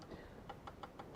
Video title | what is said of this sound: ...Continued Sat Live Stream | you can hear tapping on that one then it's loose